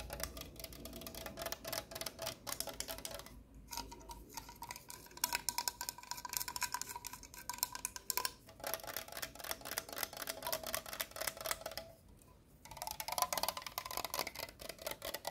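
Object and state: Aluminum drink can.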